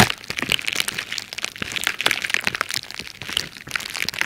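A crumpled sheet of red plastic bubble wrap, held close to the mic, is squeezed and scratched with long red-painted nails and fingertips. It gives a dense, bright stream of sharp crackles, pops and crinkling that die away almost instantly, with little low end.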